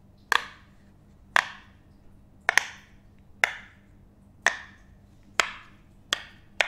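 A hand-sized teal butterfly-shaped silicone pop it fidget toy with hollow bubbles is held in the hands and tapped and pressed with the fingertips and nails. It makes a slow series of sharp, bright, hollow pops and clicks, each dying away quickly, with quiet pauses between them.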